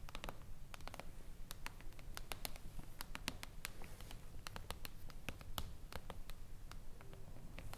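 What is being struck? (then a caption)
Hardcover book with foil-laminated cover. Long acrylic nails on several fingers rapidly tap a flat hardcover book with a reflective silver mirror-foil cover lying on a table. The result is a quick, irregular stream of sharp, dry clicks with almost no ring, over a steady low hum.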